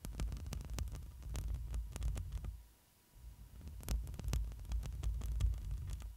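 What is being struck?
Metal mesh microphone grille.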